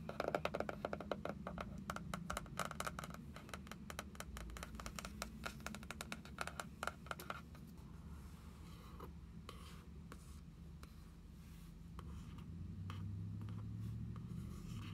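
A small floral-print notebook with a printed card cover and a solid stack of paper lies flat on a wooden table and is tapped and traced with long acrylic nails and fingertips. Quick, dense clicky nail taps fill the first half, then thin out into sparser taps and soft scratchy tracing over a steady low hum.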